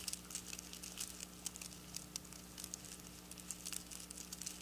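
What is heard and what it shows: Long black nails scratch and flick across silver plastic sequin fabric, lifting its edge slightly. The sequins give a quiet, steady stream of bright, crisp clicks and crinkly scratches over a faint low hum.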